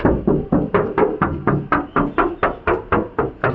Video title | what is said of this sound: มาครับคันที่37 รถตู้มือสอง เกรดA ใครหาอยู่หรือสนใจ โทรเลย | ได้ฟังเสียงครับว่ารถมันบางมันเดิมนั่นเอง